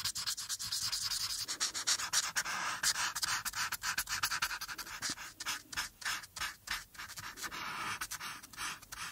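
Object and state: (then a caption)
Marker scratching on paper. A marker tip strokes and scratches back and forth across a thin printed paper coloring page lying flat, coloring in the blue background while the other hand rests on the sheet. The sound is a quick, uneven run of dry, bright, hissy scratches with almost no low end, each stroke short and cutting off fast.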